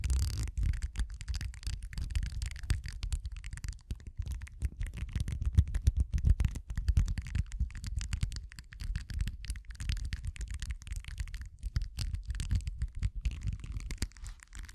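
A two-prong metal tool with a pink handle scratches and flicks the bristles of a small purple silicone facial cleansing pad. The result is a dense, continuous run of rapid soft ticks and scrapes, mostly dull low-end thumps with a faint bright crackle on top.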